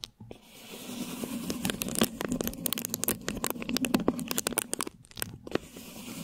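Long lilac nail tips on both hands scratch clear plastic film stretched over a hollow, round mesh microphone head. The result is a rapid, dense run of crinkly, tearing scrapes with bright, crisp edges over a steady low hum near 250 Hz, with brief pauses just after the start and near the end.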